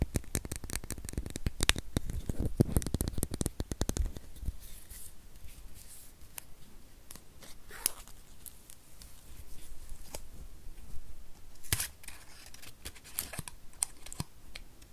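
Fingernails tap a small, solid white plastic USB power adapter with metal prongs in a typing-like rhythm. Rapid, dry clicks cluster densely for about the first four seconds, then thin out into sparser, scattered taps with bright, short transients that stop instantly without ringing.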